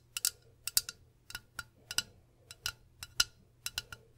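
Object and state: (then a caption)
Glass bottle tapped with fingernails. A medium, hollow cobalt-blue glass bottle is held up beside the microphone and tapped with long pink acrylic nails, then tilted at the end. About fifteen quiet, sharp, high-pitched clicks land in loose, irregular pairs and clusters, each dying away almost instantly with no lasting ring.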